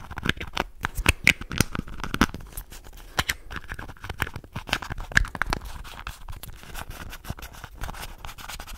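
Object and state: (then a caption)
Plastic contact lens case. Fingernails scratch and tap quickly across the edges and surface of a small, hollow red and white plastic contact lens case held in both hands. Dry, brittle plastic clicks and scrapes come in rapid bursts, with a faint hollow tone around 1.7 kHz and bright high scratching, each sound dying out almost instantly.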